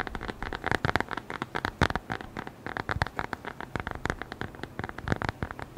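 A small, closed brown leather-covered notebook or wallet is held at the microphone and tapped and scratched with the fingertips. Rapid, irregular dry taps and scratchy rustles follow one another closely, each dying away almost instantly. The sound is mid-toned and muted, with little brightness.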